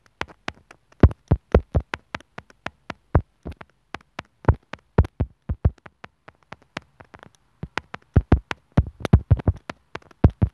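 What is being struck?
Plastic earphone inline microphone remote.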